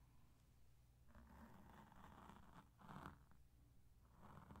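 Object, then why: Foam microphone windscreen rubbed with cotton swabs. Cotton swabs held in both hands rub and scratch a black porous foam microphone windscreen. The result is soft, muffled scratchy brushing over a low rumble, with bursts of rustling that swell and fade.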